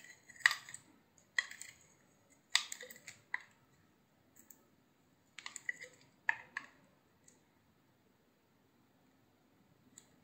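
A utility knife slices the surface off a hand-sized solid cream soap bar with a blue and pink coating. Short, crisp, bright crackling cuts come in irregular clusters, each dying away almost instantly, with quiet pauses between strokes.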